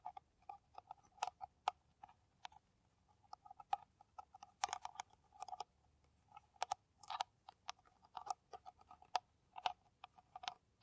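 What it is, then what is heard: Empty plastic PET bottle. An empty, clear, ridged plastic PET water bottle, hollow and held upside down, is tapped and scratched with long nails. Irregular clusters of quick, dry clicks and ticks are heard, with a hollow tone around 740 Hz, bright upper edges on the sharper taps, and brief scratching between them. The overall level is soft.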